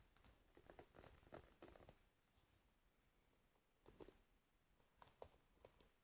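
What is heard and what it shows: Long nails scratch and pluck the metal pins set in the rubber cushion of a wooden hairbrush and tap its wooden frame as the brush is held up and rotated. Quiet, dry clicks and crinkly scratches come in short clusters with bright edges and a soft midrange tone near 520 Hz, separated by a near-silent pause in the middle.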